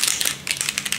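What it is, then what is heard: Small plastic ink bottle with loose mixing balls rattling inside. A plastic bottle of copper alcohol ink is shaken and banged against a wrist, and the small mixing balls inside rattle in a quick run of bright, high-pitched clicks. The balls are moving loose and stirring the ink, as they should.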